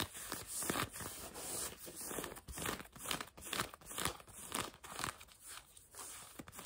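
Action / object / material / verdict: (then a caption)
scrape / denim jeans fabric over a leg / denim / none. Two hands with long almond-shaped nails scratch the surface of blue denim jeans stretched over a bent knee, soft fabric over a solid leg. The result is a quiet, quick, uneven run of dry, raspy scratching strokes with a bright, hissy texture and little low end. Each stroke is short and dies away almost at once.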